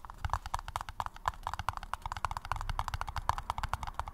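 A paper cup is tapped in a rapid, steady stream of short, hollow, clip-clop-like taps. Each tap has a dry knock near 1 kHz with a soft low thump beneath it and almost no ring. The taps stay at a fairly even, quiet level throughout.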